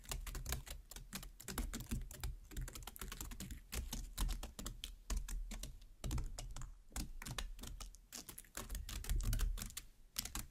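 Long black nails tap and pierce the open red flesh of a large cut watermelon half with both hands. A rapid, continuous run of sharp clicking taps with bright, crisp attacks over a soft low thump comes in irregular bursts for about ten seconds.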